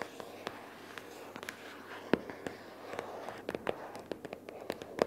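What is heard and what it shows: Long purple fingernails tap on a pink paperboard notebook case lying flat with paper inside. The result is an irregular series of short, dry, hollow clicks with no ring, some sharper and louder than others, over a faint background hiss.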